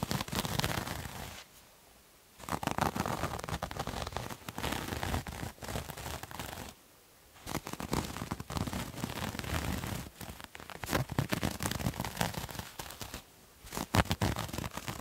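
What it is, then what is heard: Terry cloth towel being scratched. A multicolored striped terry cloth towel, held bunched, is scratched with fingernails, producing dense, rough, crackling scratches across a broad range from low rumble to bright hiss. The scratching comes in long bursts separated by brief near-silent pauses.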